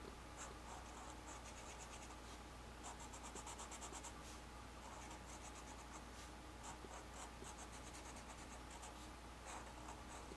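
A black felt-tip marker tip, held in hand, scratches and rubs across a flat white paper sheet with ink knot designs while inking lines. Quiet, continuous scratchy strokes come in quick bright bursts of high hiss over a steady low hum, with no clear pauses between them.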